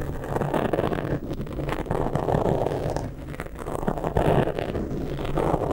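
Fingertips and nails scratch and rub the sides of a black foam windscreen on a microphone, producing a continuous rough, muffled rustling with a low hum around 150 Hz. The scratching swells and eases in uneven waves, with dense texture concentrated in the low and mid range and almost nothing bright.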